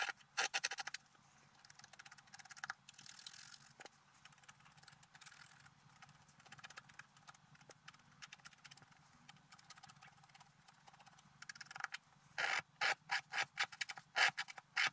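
A wooden stylus scratches across a flat coated scratch-art paper card lying on a table, leaving flakes of coating scattered around. Bright, dry scratching strokes repeat quickly, with louder bursts at the start, quieter steady scraping through the middle, and a run of intense separate strokes near the end.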